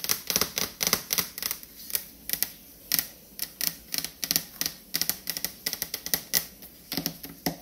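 Long fingernails tap quickly on a refrigerator door, making a rapid, uneven series of sharp, clicky taps. Each tap is bright and dies away almost instantly, with very little low end.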